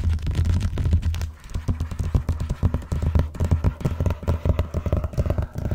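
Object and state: Vinyl-covered binder.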